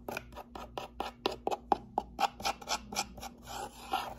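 A closed, hollow brown cardboard box with a hand slot is held tilted in one hand while the nails of the other hand scratch and tap its face. About 14 quick, dry, papery scratch-and-tap strokes come at roughly four per second, somewhat unevenly, each with a midrange knock and a bright rasp that dies away almost instantly.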